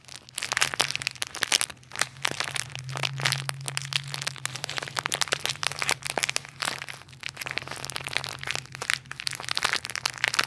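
A clear plastic toy bag with a "nutty toys" label and a toy inside is crushed and crinkled by fingertips and nails. The result is dense, bright crackling and crunching bursts over a faint steady low hum.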